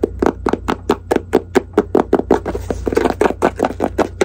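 Long acrylic nails tap and scratch the lid and sides of a small, hollow, closed white faux-leather jewelry case held in both hands. About twenty quick, dry taps come in a steady rhythm, each with a hollow midrange knock that dies almost at once, mixed with brief bright scratches. A faint low hum runs underneath throughout.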